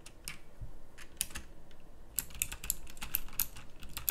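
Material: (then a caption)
Plastic. Moderate fingertip typing on a full-size backlit pink mechanical keyboard with round plastic typewriter-style keycaps. Its quick, bright clicks rise and fall in irregular bursts, each snapping off almost instantly over a faint low hum.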